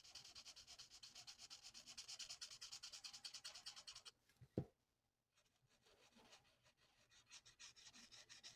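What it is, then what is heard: Marker colouring on paper. The felt nib of a plastic alcohol marker rubs a thin flat sheet of printed paper on a table in rapid back-and-forth strokes, making a bright, scratchy, rhythmic swishing. After about four seconds the strokes stop with a single low thump and a short silence. Then the coloring resumes more softly and unevenly.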